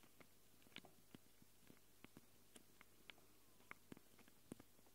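Long glittery acrylic nails, used with both hands, scratch and tap the two round metal-rimmed X/Y microphone capsules on a small handheld Tascam recorder with a black plastic body. About ten quiet, sharp, dry clicks and scrapes stand out over a steady low hum, each stopping almost instantly.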